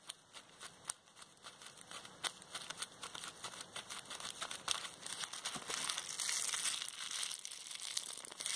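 A small folded bundle of clear plastic bubble wrap with hollow air bubbles is squeezed and popped between fingers with long red nails. Irregular sharp, bright pops ring out over constant crinkling, with almost no low end. The crinkling grows denser and louder toward the end.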